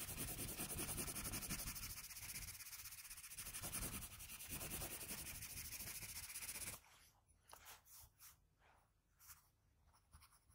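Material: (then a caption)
Paper. Fingers hold a blue wooden graphite pencil and shade the face area of a graphite portrait on a flat sheet of drawing paper. Dense, bright, scratchy strokes rub back and forth in a steady rhythm for about seven seconds. The sound then drops to quieter, scattered short strokes.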